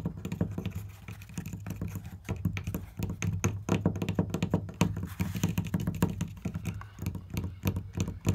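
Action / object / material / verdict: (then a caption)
tap / flat wooden board / wood / none. Fingernails rapidly tap and scratch a flat, solid wooden board with marker drawings on it. The result is a dense stream of quick, dull, low-pitched taps with short scratchy bits, each stopping almost at once.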